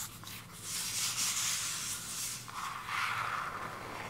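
Long acrylic nails scratch and tap across the surface of a flat, hand-sized cardboard eyeshadow palette with a purple peacock-feather printed case, held in both hands. A steady, bright scratching rasp rises and falls in waves, with a softer band in the mid-range during the later strokes.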